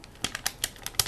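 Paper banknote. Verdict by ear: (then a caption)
Crisp. A crisp new paper dollar bill is snapped or flicked, giving six short, bright, crunchy crackles with almost no low end. Each crackle dies away almost instantly, leaving a dry, papery crispness.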